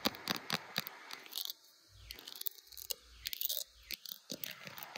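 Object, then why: Smartphone in a plastic case. Long blue acrylic nails rapidly tap and scratch the back of a handheld smartphone in a clear glitter plastic case with butterfly decorations, seen in a mirror, close to the microphone. Sharp, dry plastic clicks mix with bright, crinkly scratching strokes that rise and fall in sweeping arcs. The sound is mostly high and thin, with little low end.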